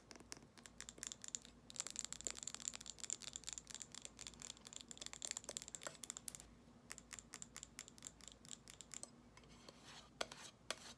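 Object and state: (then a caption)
Glass jar candle. Long nails tap and scratch a small amber glass jar candle with a gold metal lid and solid wax inside, mostly on the glass sides and the lid rim. The sound is quiet, with rapid, bright clicks and scratchy scraping. Each tap is sharp and dies away almost instantly, with hardly any low end.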